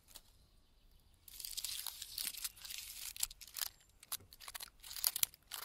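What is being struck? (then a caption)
Pine tree trunk bark. Fingertips and nails scratch and tap the thick, flaky bark of a large, solid, standing pine trunk in a forest. After a quiet first second, bursts of dry, bright, crackly scratching and tearing-like crunches start and stop repeatedly, with sharp short taps mixed in.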